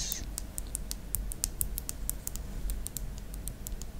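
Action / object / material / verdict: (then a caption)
tap / plastic stylus pen / plastic / none. Long black acrylic nails tap rapidly along the body of a slim, white, hollow plastic stylus in the style of an Apple Pencil, held across a tablet. The taps are short, bright, dry clicks with almost no ring, heard over a steady low hum.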